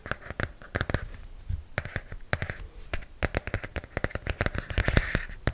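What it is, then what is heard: Hardcover comic book. Long nails tap and scratch the glossy cardboard cover of a large hardcover comic book held upright. Quick, dry taps with a low thump land in an uneven, rapid run. Soft scratchy hiss fills the gaps, and a brighter rasp comes near the end.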